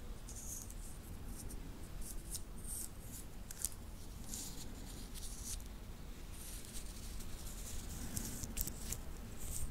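A small titanium link watch band is held and worked between the fingertips close to the recorder, its metal links clicking and rubbing against each other. Scattered bright, crisp ticks and faint scraping sit over a steady low rumble at a quiet, even level throughout.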